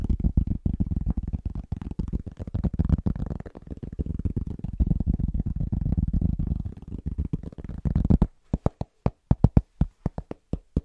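Fingertips of both hands tap rapidly on a large, thin, solid round pressed-cork trivet, making dense, muffled, low thuds with almost no ring for about eight seconds. The tapping then thins into slower, separate soft knocks until the end.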